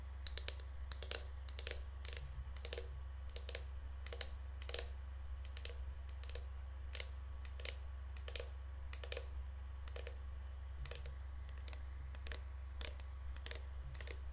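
A pink, hand-sized plastic Lush Snow Fairy shower gel bottle, likely full, is held up and tapped with long nails on its body and bottom cap. The result is a rapid, uneven stream of short, dry, bright clicks that sound like typing on a keyboard. A steady low hum sits underneath.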